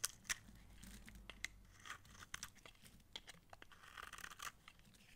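A utility knife blade scrapes layered shavings from the face and edge of a solid, dry, light green massage soap bar held in hand. The sound is a quiet, irregular series of crisp, crunchy scrapes and flaking crackles, bright and dry with almost no ring.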